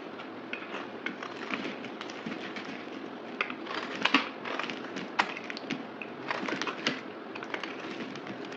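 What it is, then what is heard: Bar of soap being scraped. A solid rectangular white bar of soap held in the hand is cut and scraped with a utility knife blade, peeling off thin curls, sped up to twice normal speed. A steady dry scraping hiss runs throughout, broken by many sharp, crackly snaps that are bright and short with almost no low end.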